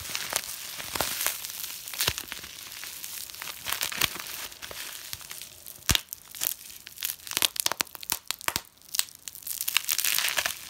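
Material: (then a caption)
Plastic. Clear plastic bubble wrap, rolled into a tight tube of small air-filled bubbles, is gripped in both hands and twisted and squeezed. Many bubbles pop at once in sharp, bright cracks over a steady crinkling and crushing of the plastic. The pops come in dense clusters with almost no low end.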